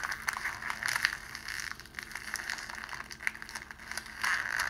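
A pleated sheet of clear cellophane wrapping, held between both hands, is squeezed and pulled apart like an accordion. It makes dense, bright crinkling and crackling with sharp snaps and almost no low end. The crackling swells loudest near the start and again toward the end.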